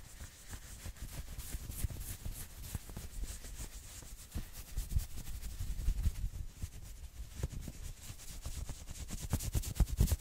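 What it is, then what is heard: Knit sweater. Fingernails scratch quickly over the forearm sleeves and shoulder of a worn maroon knit sweater. The result is a continuous, rough, rubbing scratch, heavy in low rumble with faint bright fabric hiss, growing denser and louder toward the end.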